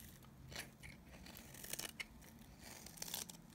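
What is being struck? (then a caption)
Bar of soap. A blade scrapes across the surface of a solid, oval, dry bar of Nevskaya Kosmetika soap held in the palm, shaving it into crunchy flakes. Dry, bright, crunchy scraping bursts come in uneven strokes over a faint low hum. Each stroke dies away quickly.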